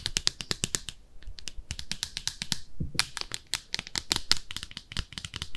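Long nails scratch and tap inside and outside a small, hollow, empty pink speckled ceramic soap dish shaped like a bathtub. Quick, dry, bright clicks and taps with very short ring-out come in dense clusters, separated by softer scraping passages.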